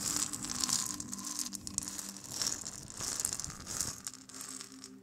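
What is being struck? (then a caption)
Seed-filled gourd maraca. A single small hollow gourd maraca with a carved, painted shell and wooden handle, filled with seeds, is held by hand and shaken close up. It gives bursts of bright, hissing seed rattle in uneven shakes, with a faint low hum beneath.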